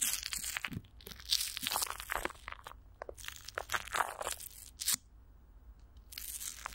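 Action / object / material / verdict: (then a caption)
scrape / plastic film stretched over a microphone grille / plastic film / none. Clear plastic wrap coated with Vaseline is stretched over a hollow microphone grille while a palm and long nails rub and scratch across the top. The result is a close run of bright, crinkly crunches and scratchy tearing-like rustles that flare and fade. A quieter stretch follows before the scratching picks up again at the end.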